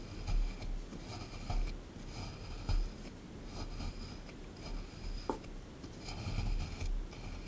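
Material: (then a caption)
Plaster. A small chisel tool picks at and scrapes a solid plaster dinosaur excavation block sitting in a tray. It makes dry, gritty rasping scrapes with soft low knocks and a sharp little tick partway through, in uneven bursts.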